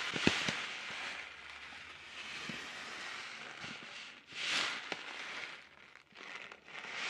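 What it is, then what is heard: Plastic snack packet. A sealed orange plastic-film snack packet, held by its ends, is crinkled and shaken with fingertips in front of a foam mic. The result is a steady, bright crackling and rustling with a sharp snap near the start and a louder crinkling swell about two-thirds of the way through.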